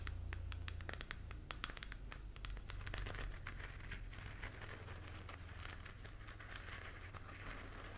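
A glowing, hollow plastic galaxy moon lamp is held in both hands while long nails scratch and tap its textured surface. Quick, irregular bright clicks and dry scratches patter along at about four per second over a steady low hum. Each tap is short and dies away almost at once.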